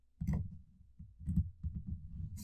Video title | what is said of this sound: Roving Slant Episode 16: Tips to Protect Against Unforeseen Burglaries | it's very minor. Yeah, it's there. It might be really annoying in the thing because it sounds hollow